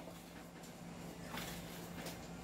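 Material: Nothing is struck.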